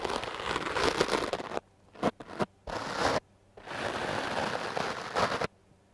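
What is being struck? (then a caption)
Foam microphone windscreen. A foam microphone windscreen held in hand is brushed with a wooden hard-bristle clothes brush, giving dense, scratchy, crackling strokes across a broad, bright range. Five bursts are heard: two long sustained stretches of scrubbing separated by short quick swipes and near-silent pauses.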